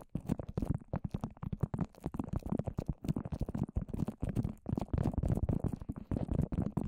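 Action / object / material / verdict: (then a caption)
tap / papier-mâché layered over a plastic-wrapped microphone / papier-mâché / none. Long orange nails tap rapidly on the dome-shaped surface of a microphone wrapped in plastic and layered with wet white papier-mâché. The result is a dense, continuous patter of soft, sticky, muffled taps, heavy in low frequencies with almost no brightness. Each tap dies away almost instantly.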